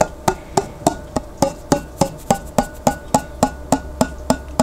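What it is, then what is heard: Glass jar lid tapped. Fingertips tap and drum on the flat, white printed lid of a large glass pickle jar that is held sideways and partly filled with water. Seventeen short, hollow taps come in a steady rhythm, each with a faint pitched ring near 800 Hz that dies away almost instantly.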